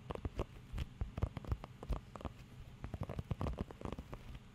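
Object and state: Rubber grooming glove.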